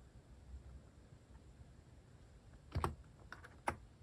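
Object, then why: Plastic mechanical keyboard. Fingertips press the keys of a cream plastic-case mechanical keyboard fitted with cat and paw-shaped plastic keycaps. After a stretch of faint low hiss, a few scattered, irregular keystrokes come in the last second and a half as short, dry clacks that stop almost instantly.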